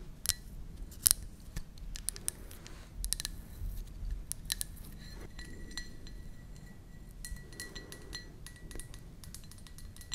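Long nails tap the outside of a hollow, empty white ceramic mug with a blue flower pattern, held near the mic. The result is a steady stream of sharp, bright clicks and small clinks that die away almost instantly, over a soft low rumble and a faint sustained tone near 2 kHz.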